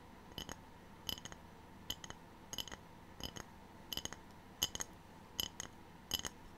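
A ceramic tray is tapped in quick clusters of two or three light taps, about nine clusters in total, with no talking. Each tap gives a short, bright, glassy clink near 3 kHz that dies away almost at once over a soft background hiss.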